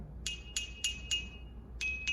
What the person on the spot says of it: Can you hear it plays two notes also?